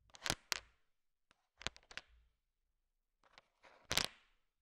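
A thin wooden stick stirs a large pile of small, solid, sugar-shell-coated M&M chocolate candies. The candies click and rattle against each other in several short, bright bursts with quiet gaps between them. The clicks are crisp and dry, with almost no ring after each one.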